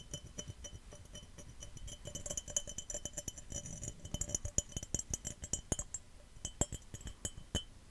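A glass cup is tapped fast and aggressively and scratched, giving a rapid run of short, bright clinks with a high ringing tone. Each tap dies away almost at once, over a low rumbling undertone.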